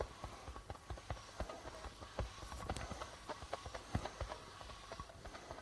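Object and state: Darbuka drum with plastic head.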